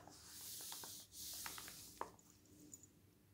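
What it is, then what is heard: Glossy magazine page being rubbed and turned. A palm rubs and smooths a page of a glossy paper magazine lying open on a table, making two bright, hissing swishes. A crisp papery snap follows as fingers lift and turn the thin coated page, then a faint rustle as it settles.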